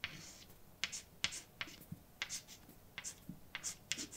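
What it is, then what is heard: Chalk writing on a blackboard. A hand writes words with a white chalk stick on a large, flat, dark painted blackboard with a solid surface. About a dozen sharp taps and short scratching strokes ring out, bright and high-pitched, with little low end. Each stroke dies away almost instantly, leaving quiet gaps between the marks.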